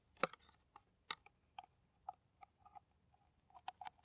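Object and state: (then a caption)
Empty plastic bottle tapped with nails. An empty, clear, ridged plastic PET water bottle, hollow and held upside down, is tapped and scratched with long nails. Irregular sharp, hollow plastic clicks ring briefly, mixed with short scratchy scrapes, and the taps cluster more quickly toward the end.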